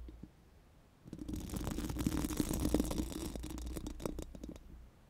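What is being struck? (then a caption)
Steel mesh microphone grille. Four pink silicone spoolie brushes are rubbed over a bare, hollow steel mesh microphone grille. After a second of quiet, a dense, scratchy bristling rustle with a low rumbling undertone builds and continues steadily. It then thins out and stops near the five-second mark.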